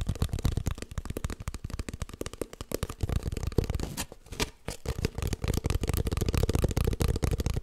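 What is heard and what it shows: Long nails scratch and tap quickly along an empty, hollow cardboard kitchen roll tube held horizontally. The result is a dense, steady stream of short, dry, hollow-sounding scrapes and taps, heavy in the low end, with a brief quieter gap just past the midpoint.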